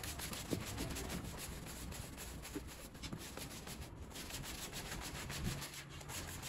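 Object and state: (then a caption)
Soapy pile rug being scrubbed. A small soapy, bear-shaped pile rug is scrubbed vigorously with a green push broom, giving a steady wet rubbing and scraping sound. Rhythmic bristle strokes pulse through the clip over a low, muffled body with a bright hiss on top.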